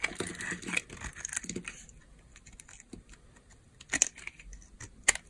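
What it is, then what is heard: Bar soap being shaved. A utility knife blade shaves a solid, rectangular, palm-sized bar of dry pale yellow soap. Dense, bright, crisp scraping and crumbling fills the first two seconds, then fades to quieter rasps. Sharp, clicky cuts snap out near the four-second mark and again just after five seconds.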